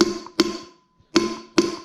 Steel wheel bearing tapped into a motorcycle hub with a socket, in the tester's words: So now we know that's seated properly.